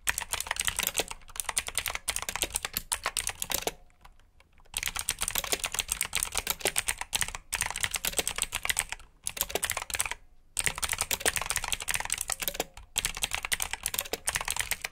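Fingertips type steadily on a black plastic backlit mechanical keyboard with blue switches, producing a dense stream of sharp, bright clicks. Brief pauses break up the typing near 4 seconds, 9 seconds, and 10.5 seconds.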